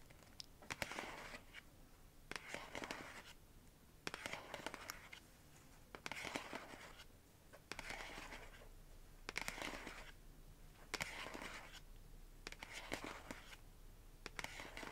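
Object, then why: Small printed cardboard box. Long nails tap and scratch the front of a small pink printed cardboard box in repeated strokes about every second and a half. Each stroke is a dry, papery, bright scraping rasp with short clicky taps and no ring, separated by quiet gaps.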